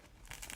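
Fresh Thermomix baguettes, baked well done and still very hot from the oven, are handled so their crust crackles. Three dry, crisp crunches ring out over a soft low rumble. The crackle shows a crisp, well-baked crust.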